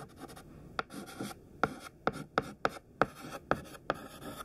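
A thin stick of white classroom chalk, held in the fingertips, writes words on a large flat black chalkboard. Soft scratching strokes are broken by eight sharp, short taps of the chalk against the board, each with a brief ringing tone around 535 Hz.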